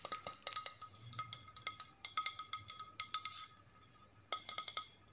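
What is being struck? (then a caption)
Flat ceramic plate. Long nails tap and scratch a flat white ceramic plate with blue stripes held upright, making a series of quick, bright clinking taps. The taps die away almost at once over a faint steady high tone, with a short pause before a final burst.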